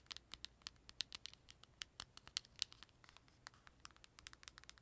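Long nails tap and scratch along the plastic edges and lid of a closed, purple, glossy plastic Nintendo 3DS held in one hand. The result is a quick series of short, sharp, bright clicks and ticks over a faint hiss, with almost no low end and no ring after each hit.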